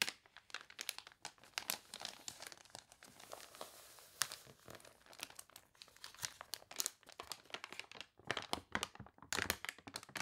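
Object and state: Glossy paper catalog being crinkled.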